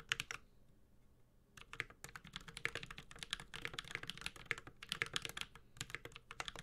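Continuous typing with the fingertips of both hands on a Space65 Cybervoyager, a 65% metal-case mechanical keyboard with Holy Panda switches and ABS plastic keycaps. A quick flurry of bright, sharp clicks gives way to a brief pause, then a steady stream of crisp, clacky keystrokes centered near 2.9 kHz, each dying away almost instantly, with a light low thock underneath.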